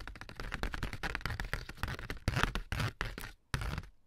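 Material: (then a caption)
Cardboard. A sheet of ribbed corrugated cardboard, first held up and then laid down, is scratched and tapped with AA batteries worn as long nails. A rapid, uneven run of dry taps and scratchy clicks with a low, thumpy body keeps going, with louder bursts near the end. It falls briefly silent, then resumes with another burst.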